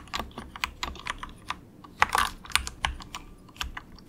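Fingertips of both hands type softly on an inexpensive compact 68-key plastic mechanical keyboard with a hollow case, resting on a desk mat. Quick, dry keystroke clicks come in an uneven rhythm, with a bright, clacky midrange and little low end. A brief flurry of closely spaced keypresses falls near the middle of the clip.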